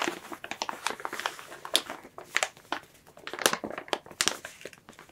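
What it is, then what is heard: Crinkling plastic bag. A large, clear, soft plastic bag packaging a plush toy is rubbed, scratched and squeezed by fingertips and long nails, with both hands gripping and crinkling it. The result is a steady run of bright, crisp crinkles and sharp snaps that rise and fall with each squeeze, with almost no low end.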